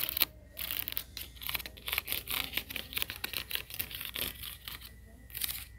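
Fingertips with short nails tap and scratch along the lined-up ridged rims of a nested stack of hollow, empty, glossy orange hard-plastic buckets or bowls. The result is a quick run of dry, bright scratching and clicking with crisp, crinkly bursts and almost no ringing after each stroke.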